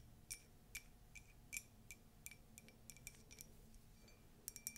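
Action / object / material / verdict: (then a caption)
tap / ceramic mug / ceramic / none. A tall, white, conical Disney ceramic mug with a colourful text print, hollow and empty, is tapped and scratched with long nails, including inside the rim. Quiet, short, bright clicks with a faint ring around 2.4 kHz come in an uneven series over a soft low background.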